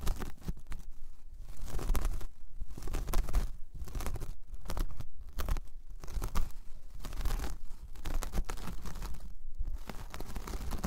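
Long painted nails scratch across a large, flat, solid, round braided jute/straw coaster, producing dry, fibrous rasping and crinkly scraping in repeated bursts with brief pauses between strokes. The texture is bright and crackly over a steady low rumble, and each stroke stops quickly with almost no ring.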